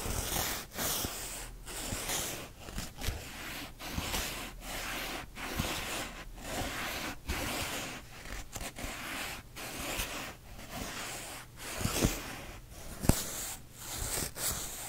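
A thick hardcover book with a green and red cover is held flat on one palm while fingernails scratch along its stacked paper page edges. The result is a repeated, zipper-like rasp: dense, broadband scratching strokes separated by short gaps, with a low hum underneath and a few sharper clicks.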